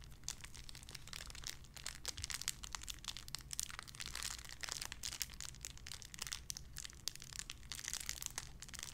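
A small clear plastic bag wrapped around a small white figurine is crinkled and squeezed between fingertips with long red nails. The result is a steady, bright crinkling full of sharp, quick crackles that die away instantly, over a faint low hum.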